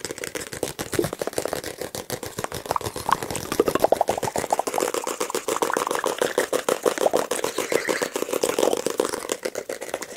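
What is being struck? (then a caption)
Paperback book with glossy card cover. Fingertips tap very fast and nails scratch across the glossy card cover of a solid paperback book held near the microphone. The result is a dense, steady stream of dry, crisp clicks with almost no ring and little low end, its tone centred in the midrange around 1 kHz, with a faint scratchy hiss between taps.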